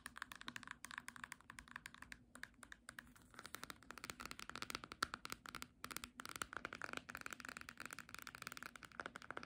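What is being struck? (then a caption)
Small cloth-bound hardcover book. Long nails tap rapidly on the front cover of a small, solid, green cloth-bound hardcover book, "A Little English Book of Teas," held upright. The result is a dense run of short, bright, clicky taps with almost no ring and little low end, steady across the clip.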